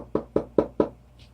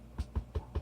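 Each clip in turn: First: Four crisp knocks, mid-pitched near 430 Hz and dying almost at once: a firm, hard resin-coated canvas. Second: Four soft, low thuds die away at once, a varnished canvas whose finish gives under the finger.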